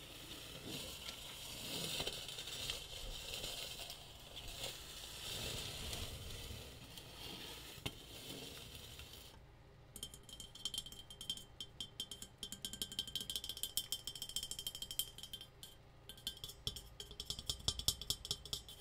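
A metal tea kettle is tapped, with a soft broadband rustling for the first half before rapid, sharp taps take over. The taps give short, clinking metallic tones with a bright ring that dies away almost at once.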